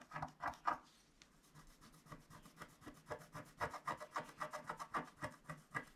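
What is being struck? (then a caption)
Wax-coated scratch-art paper scratched with a wooden stylus. A wooden stylus scratches the lower part of a flat scratch-art card of black wax-coated paper while the other hand rests flat on the sheet. About sixteen short, dry, rasping strokes are heard in a steady rhythm, with a softer stretch near the start before the strokes grow louder again.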